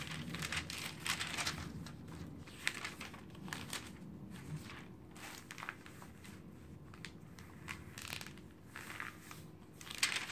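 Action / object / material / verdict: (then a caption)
scrape / glossy paper magazine / paper / none. An open glossy paper magazine, Popular Science, lies flat on a dark table while hands with long painted nails flip its thin pages quickly and smooth them down with their fingertips. A steady stream of bright, crisp rustles and crinkling page turns is heard, with sharper snaps as pages flip over. The sound stays close and continuous throughout.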